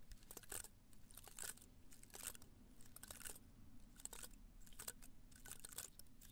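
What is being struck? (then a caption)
Potted cactus spines. Fingertips and nails scratch and brush across the top of the dense, pale spines of a small live cactus with a solid plant body, sitting in a red-brown pot held in one hand. The result is quiet, irregular bursts of crisp, crunchy scratching with a bright hiss, over a steady low rumble.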